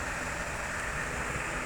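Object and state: Nothing is struck.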